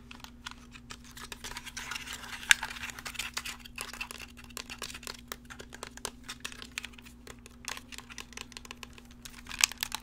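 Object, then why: Plastic game controller. Fingertips click the buttons and triggers of a hollow, black, wired plastic gamepad held in the hands and handle its shell, making a dense run of short, dry, bright clicks and soft plastic rustling. A steady low hum sits underneath near 240 Hz, with a sharper click standing out near the start and again near the end.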